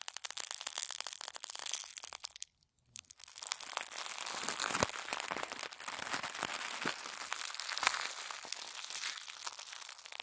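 A small wad of thin white tissue paper from shoe-box wrapping, light and airy, is squeezed and crumpled in one hand with the fingertips over a wooden table. Dense, bright crinkling and crackling runs almost the whole clip. It stops for a brief silence near the 2.5 second mark, then resumes with sharper crackles.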